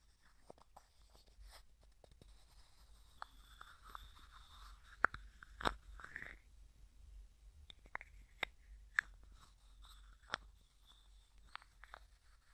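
Fingertips and nails tap, scratch and twist the white plastic screw lid of a small, hollow, clear plastic cosmetic jar with a few small items inside. Quiet, sharp clicks and taps come at irregular intervals over soft, scratchy rustling with a mid-to-bright tone. Each tap stops almost instantly with no ring.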